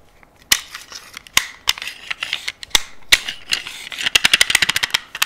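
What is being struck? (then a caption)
Metal handgun frame and slide. Long nails and fingertips tap and scratch along the slide and frame of a solid, hand-sized black metal semi-automatic pistol held close to the microphone. Sharp, bright clicks with scratchy rasps in between, centered around 2 kHz, with almost no low end. The taps die away almost instantly and come faster and denser toward the end.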